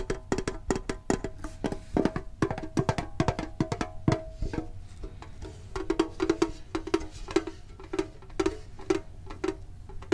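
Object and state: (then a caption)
Metal card tin. A medium-sized, hollow, printed metal Pokemon card tin is held and tapped with the fingertips and short nails. Quick, irregular clicky taps come first, then settle into slower, evenly spaced taps with a hollow, tinny tone around 400 Hz. Each tap dies away almost at once.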